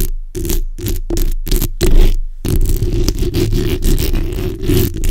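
The backs of long acrylic nails scratch across the hollow, black, ball-shaped metal mesh grille of a USB condenser microphone in repeated strokes. It sounds like a deep, boomy, rumbling scrape. A few separate bursts with short gaps come first, then the scratching runs continuously to the end.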